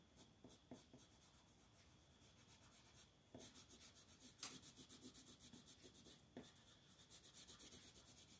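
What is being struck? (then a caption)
Colored pencil on paper coloring book page. A purple colored pencil strokes and scratches along the edge of the design at the right side of a flat paper coloring book page. Quiet, bright, raspy scratching comes in quick rhythmic strokes, with a few sharper, louder scrapes standing out midway through.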